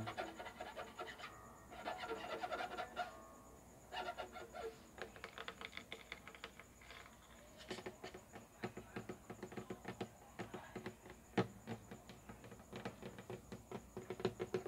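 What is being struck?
Wooden acoustic guitar neck and fretboard.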